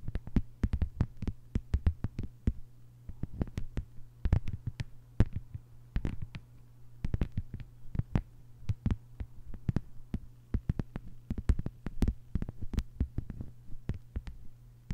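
Long white-polished nails on both hands tap rapidly across a thin, solid, flat lime-green plastic cutting mat lying on a table. The result is a dense run of short, sharp clicks that die away almost instantly. A steady low hum sits underneath throughout.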